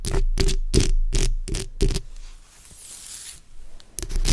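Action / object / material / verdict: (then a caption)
scrape / metal mesh microphone grille scratched with fingernails / metal mesh / none. The backs of long acrylic nails scratch along the sides of a black microphone's hollow metal mesh grille. Quick, rhythmic bursts of scratching produce heavy, rumbling low-end noise with bright rasping edges. A quieter stretch of faint hiss and soft high rustling follows before the scratching starts again at the end.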